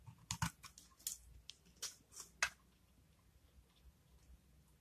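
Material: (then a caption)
Soap. A metal utility blade shaves and cuts the face of a solid, dry blue-and-white marbled soap bar held in the hand, sending curled soap shavings falling off. About eight quiet, crisp, bright scraping crunches come in an uneven rhythm over the first two and a half seconds, each dying away almost instantly, and the clip then settles into near silence.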